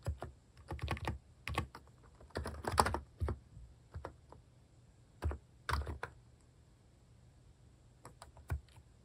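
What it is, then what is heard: Plastic keyboard typing. Fingertips press and tap the plastic cat-face keycaps of a plastic mechanical keyboard resting on a wooden desk. Quiet bursts of quick, muted keystrokes come in irregular runs separated by short pauses. Each press is a soft, low thock that dies away almost instantly.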